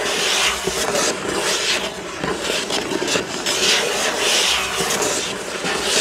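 Fingertips and nails of one hand scratch and rub across the front of a flat, hollow, printed cardboard box from a building-block set lying on a wooden table. The result is a steady, dense, bright scratching hiss with almost no low end, swelling and easing slightly as the strokes continue without a break.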